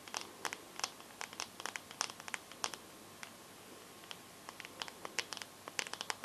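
Long yellow nails tap and scratch the glass touchscreen of a bare, solid, hand-sized teal smartphone. The result is a quick, uneven run of sharp, bright clicks with very short decay, separated by light scratchy friction over a quiet background.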